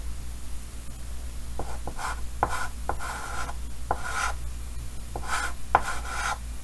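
Fingers draw the outline of a head with white chalk on a large, solid painted chalkboard in a green wooden frame. The chalk makes short scratching strokes, each opening with a sharp tick and then a bright, raspy scrape over a low, steady hum.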